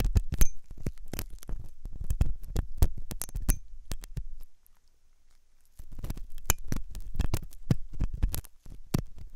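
A metal dental pick scrapes inside the hollow ear canal of a white, soft silicone ear on a binaural microphone. Close, deep scratching and thumping bursts dominate, with brief bright clicks on top. The bursts pause into near silence for about a second and a half in the middle, then resume.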